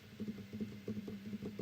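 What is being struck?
Nothing is struck.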